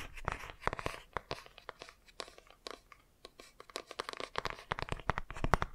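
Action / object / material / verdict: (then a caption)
scrape / laminated cardboard board book / cardboard / none. A laminated cardboard board book is held first by its edges and then upright while fingernails scratch and tap along its page edges and cover. Dense, irregular clicks and crisp scratches follow one another, with brief quieter gaps between bursts. Each tap is sharp and dry, fading almost instantly with no ring.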